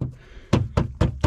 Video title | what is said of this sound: Abandoned 1990 Mercedes 230ce - Will I be able to get this one running and driving in a day??! | when you tap something you can hear bits falling that's never good